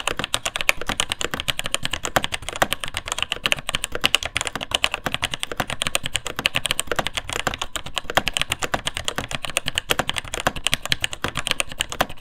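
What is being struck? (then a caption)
Plastic mechanical keyboard. Fingertips type quickly on the plastic keycaps of a vintage beige full-size keyboard with Taiwan Jet Axis linear mechanical switches in a hollow, plateless plastic case. The result is a steady stream of sharp, bright key clacks with a hollow low thud beneath them. Each clack stops almost instantly.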